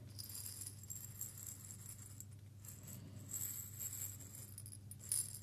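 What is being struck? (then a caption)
Small glass jar with seeds. A small clear glass jar holding a little loose content of small seeds is held in both hands, shaken and tilted so the seeds rattle against the glass. A quiet, continuous bright rattle and hiss plays over a steady low hum, with a brief louder swell near the end.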